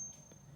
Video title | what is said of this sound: Stack Stick - Coin Ping Test | this one has a quick pop high pitch of sound with a short duration that quickly cuts off